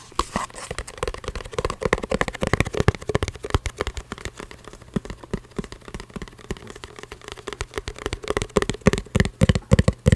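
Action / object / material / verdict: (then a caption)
tap / small cardboard box / cardboard / none. Long red-painted nails tap and scratch a small, hollow printed cardboard packaging box for a frog coin bank held up close to the microphone. The result is rapid, irregular, dry taps with a low, hollow thud, mixed with soft scratching and a faint steady low hum underneath. The tapping grows denser and louder toward the end.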